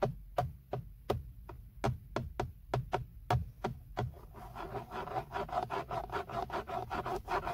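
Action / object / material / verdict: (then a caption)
scrape / padded hard plastic steering wheel airbag cover / plastic / none. Fingertips scratch and rub across the large, hollow-backed centre airbag cover of a BMW steering wheel, made of padded hard black plastic, around the logo. For the first four seconds, short, sharp scratching strokes come apart, each carrying a dull, low knock. They then give way to a quicker, denser run of rasping rubs with a brighter, more steady texture.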